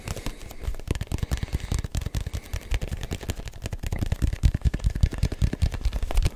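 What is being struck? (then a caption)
Hollow textured rubber ball. A neon yellow-green hollow rubber ball with a textured surface is held in one hand and tapped with the fingertips of the other. The result is a rapid, uneven stream of soft, dull thumps that are deep and low, with very short ring and faint crackly detail.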